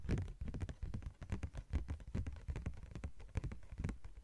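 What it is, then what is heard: Thin plastic sheet tapped with nails. Long nails tap rapidly and irregularly on a thin yellow-green translucent plastic sheet. Each tap is a short, soft, dull thunk with mostly low, muffled energy that dies away almost at once.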